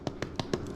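Four quick, dull taps on the bottom of soda bread rolls after further baking, each dying away almost at once. They sound hollow, which means the bread is cooked.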